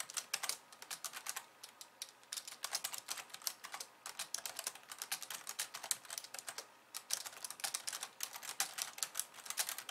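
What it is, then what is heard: Plastic computer keyboard. Long nails type fast with both hands on a pink plastic slim keyboard with white keys, making a rapid, continuous stream of sharp, bright clicks. Each tap dies away almost instantly, with no low end under the crisp, high clatter.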